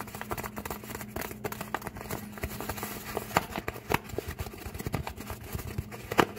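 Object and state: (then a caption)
Paper bag. The folded edge of an empty brown kraft paper bag, held up close, is scratched and tapped with fingertips and short nails. The result is a dense run of dry, crackly rustles and soft papery taps that stop almost instantly. A few sharper taps stand out near the middle and at the end, over a faint steady low hum.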